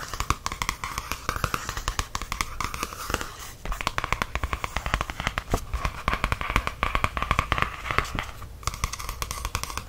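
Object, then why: Paperback coloring book with glossy card cover. A medium softcover coloring book with a glossy card cover lies flat as a solid stack of paper while fingertips and nails tap and rub across its cover. A steady stream of quick, dry taps and soft scratchy rubbing runs throughout, with low thuds from the book body beneath sharper clicks.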